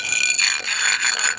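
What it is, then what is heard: Hollow (drummy) floor tile. A steel item is rubbed across a pool-deck floor tile, making a continuous bright metallic scraping rattle with ringing high tones that shifts in character partway through and fades at the end. The section gives a lower-pitched sound and is marked with tape as hollow (drummy), meaning the tile is delaminated and not bonded.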